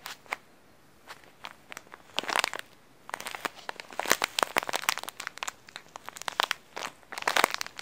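A green printed plastic snack wrapper with coconut graphics is held in the hands and squeezed, the fingers crinkling and crumpling the thin plastic. Sharp, bright crackles come in uneven bursts with short quiet gaps, and almost nothing sits in the low end.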